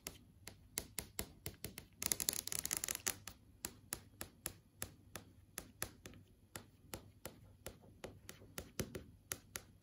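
Several long acrylic nails tap and trace across a large flat LCD TV screen with a plastic-film panel showing app tiles. Dozens of short, dry, bright clicks sound in an uneven rhythm. Around the second second they give way to a brief, dense run of scratchy tracing.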